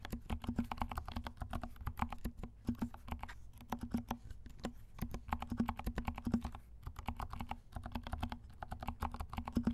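Both hands type with their fingertips on a compact mechanical keyboard with black and pink plastic keycaps and silent switches. A steady run of soft, muted taps follows, each short and dull with most of its weight low and a faint tone around 230 Hz, and the clicks die away almost instantly with no ring.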